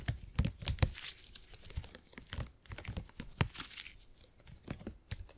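A purple elastic gel grid cushion made of hyper-elastic polymer is stretched and squeezed with both hands, giving a quiet, irregular run of soft low thumps and bright crinkling, crackling snaps. Louder pops stand out near the start and around the middle of the clip.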